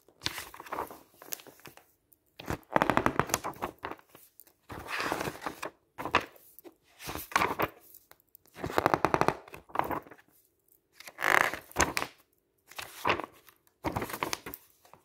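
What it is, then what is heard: Glossy paper magazine. Fingertips wearing rings riffle fast along the edges of a glossy paper travel guide lying open on a table and flip its pages. Each pass makes a quick burst of crisp, crackling flutter ticks with a bright papery rustle and no lingering ring. The bursts are separated by short silences.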